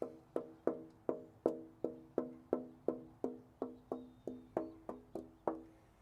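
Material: Wood.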